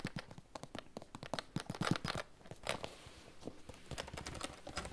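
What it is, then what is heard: Plastic pencil case. Fingernails tap rapidly on a hollow, iridescent holographic PVC plastic pencil case that is held and tilted. The result is a quick run of short, dry clicks and light knocks, with brief pauses between the bursts.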